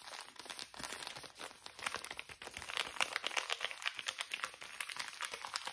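The back side of a small, full, soft plastic wet wipes pouch is stretched and crinkled between both hands. It makes a dense run of bright, dry crackles and crinkles with almost no low end. Each quick snap dies away at once, and the crackling grows busier and louder toward the middle and end.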